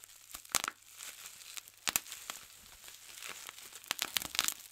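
Fingertips pinch and pop individual air-filled bubbles on a large clear plastic bubble wrap sheet. Sharp, bright snaps stand out over a steady high crinkling of the plastic. Each pop is dry and dies away almost at once.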